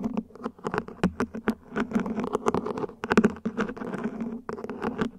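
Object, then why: Ribbed plastic plant pot. Long nails tap quickly across the top and ribbed sides of a small, hollow, mint-green ribbed plant pot, probably plastic, set upside down. The rapid, clicky taps give a dull, hollow tone centered around 220 Hz, with each tap dying away almost at once, plus a soft scratchy texture.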